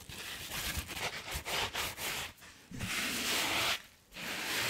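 Long nails and fingertips scratch and rub a hand-sized, solid and soft blue and white foam sponge along its textured side. The result is a bright, hissing, scratchy rustle in three bursts, with two brief quiet gaps between them.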